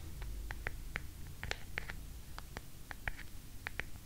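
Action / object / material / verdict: scrape / carved wooden hairbrush back / wood / none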